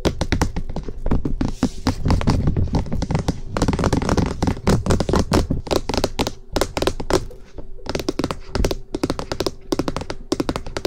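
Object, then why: Plastic microphone housing. Fingertips and nails tap rapidly on the top surface of a hollow cream plastic SR3D binaural microphone body, making a dense, typing-like stream of short knocks. The hollow housing gives each tap a low, thumping body with brief ring and sharp clicks on top. The tapping runs continuously with only short dips in intensity.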